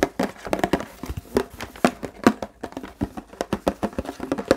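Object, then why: Plastic water bottle. A large, empty, hollow clear plastic Fiji water bottle is tapped and scratched with fingertips and nails on its body and label. Quick, irregular hollow plastic taps with a low-mid tone die away almost at once, mixed with soft crinkly scratching between them.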